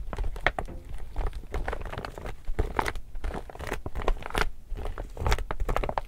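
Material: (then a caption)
Laminated polypropylene. An empty, glossy laminated woven polypropylene reusable tote bag is held in both hands while fingertips and nails rub, scratch and press its laminated surface. The result is a steady run of dry, close crinkling and crackling with short, quick-dying scratches over a low, rumbling handling noise.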